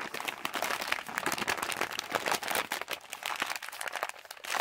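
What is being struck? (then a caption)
Plastic pouch of cough drops. Fingertips squeeze and tap a hand-sized yellow Halls plastic cough drop pouch holding drops, making a steady run of crisp, bright crinkling and crackling with almost no low end. The rustles come in dense overlapping bursts that briefly ease before swelling again at the end.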